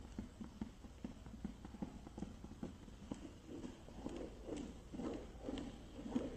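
Fingertips and nails tap the green lid and sides of a small clear plastic case with a boxed product inside. The result is a steady run of soft, quick, hollow clicks and taps with short ring, lower and warmer toward the end.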